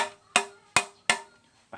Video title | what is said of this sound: Cara Sortir Plastik Kerasan | seperti kaca mudah pecah ya dan suaranya nyaring